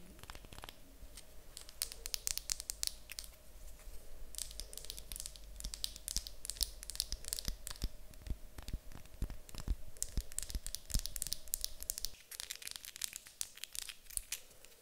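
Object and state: Wooden block.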